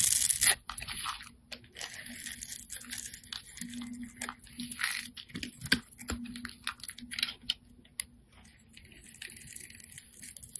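A hand-sized, solid rectangular orange laundry-style soap bar is scraped with a metal utility-knife blade that shaves off thin curls. Close, dry, crackly scraping and crunching repeats in short bursts with brief pauses, bright and high in tone. A faint steady low hum sits underneath.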